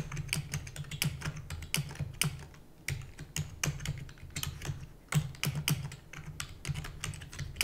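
Fingertips with long natural nails type rapidly on a full-size black plastic computer keyboard with plastic keys and a hollow housing. The result is a fast, uneven stream of short, sharp clicks with bright edges that die away almost instantly. A steady low hum runs underneath the whole time.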